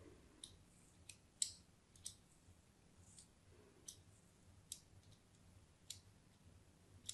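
A thin metal blade cuts diagonal lines into the face of a solid cream bar of soap with an embossed logo, held in one hand. Brief, bright scratching clicks sound at uneven intervals, each dying away almost at once, over a faint low background hum.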